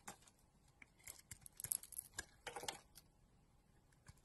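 A utility knife blade carves and scrapes a solid pink soap bar with a blue outer layer, held in the hand, into shavings. The result is a quiet series of short, crisp, bright scraping and crackling strokes, densest in the middle of the clip, with a soft hiss between them.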